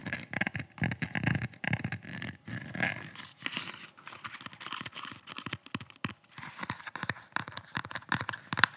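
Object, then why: Rigid kydex plastic pistol holster. Fingertips and nails tap and scratch the shell of a red rigid kydex pistol holster with a black pistol inside, close to the mic. It produces a dense, uneven run of short, dry plastic clicks mixed with scratchy scraping. Each tap dies out instantly with no ringing.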